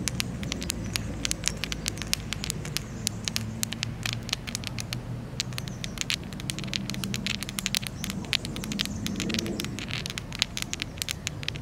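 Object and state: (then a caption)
Granite stone. A granite stone in a park by a lake is tapped, apparently with long nails, in a rapid, irregular stream of sharp, bright clicks. The clicks sound like crackle or patter over a steady low outdoor rumble, with no ring after each tap.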